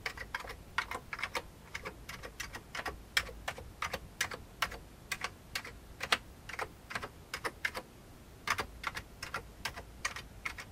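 Fingertips of one hand tap the keys of a full-size old beige plastic computer keyboard with a hollow plastic case. The result is a steady run of quick, dry clicks with a bright edge, each stopping almost at once, with short pauses between bursts.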